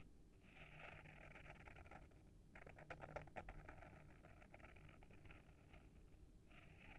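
Short fingernails scratch the front of a small, solid hardcover book with a paper-wrapped board cover, held in the hand. The scratching is a quiet, continuous, dry rasp, brief gaps near 2.5 and 6.3 seconds, and a cluster of sharper, louder strokes around 3 seconds.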